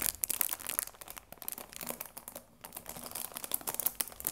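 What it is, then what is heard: Cellophane-wrapped cardboard tea box. Flat fingers rub and stroke the cellophane wrap on a cardboard tea box, making dense, bright crinkling with quick, sharp crackles. The rustling runs almost continuously, briefly quieting about halfway through before picking back up.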